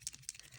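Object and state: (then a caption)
Old acrylic paint pen, paint not flowing freely. An older acrylic paint pen, unused for a long time, is shaken, giving quick, sharp, high-pitched rattling clicks with two strong ones standing out over fainter rattles. The rattle sounds different from a working pen, as though the paint is not flowing well, suggesting the pen may be clogged or worn out.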